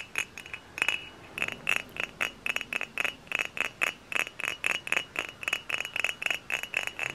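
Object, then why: Glass bottle. Fingernails tap a hollow, dark brown glass hard cider bottle held in both hands, producing a quick, uneven series of about 29 bright, glassy clinks. Each tap has a high ringing tone near 2.6 kHz that dies away almost immediately, with nearly no low end.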